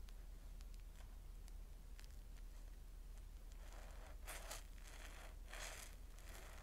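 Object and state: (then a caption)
Soapy cellulose sponge. A palm-sized yellow porous cellulose sponge, soaked and full of soap foam, is held over a steel bowl of suds and squeezed and rubbed with fingertips and palms. Faint, scattered wet crackles and pops sit over a steady low rumble at first. Later, louder bright, hissing squelches swell in as the foam is squeezed.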